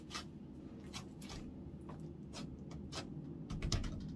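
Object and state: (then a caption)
Clear slime. Orange clear slime is folded, squeezed and pressed flat with fingertips on a wooden counter. Short, bright, wet clicks and crackles pop over a steady low rumble. The loudest squish comes near the end.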